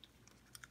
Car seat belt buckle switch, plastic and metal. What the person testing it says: if you shake it there's a rattle inside the part